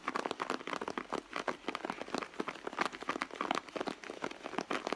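Long blue nails scratch and tap on a hollow red soft-leather handbag, making a dense run of quick, dry scratches and light taps. The crinkly sounds carry most strongly through the mids with some bright edge, and almost no low end.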